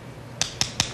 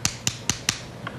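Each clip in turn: First: live clam, solid sound. Second: dead clam, hollow.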